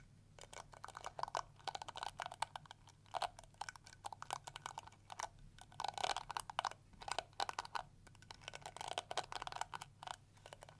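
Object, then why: Plastic hair brush bristles. A round pink and yellow plastic detangling brush is held in both hands while fingernails scratch and flick its yellow plastic teeth. The result is a steady stream of quick, dry plastic clicks and scratchy flutters in uneven bursts. The sound is bright and crisp, centred in the upper mids, with no ringing after each tick.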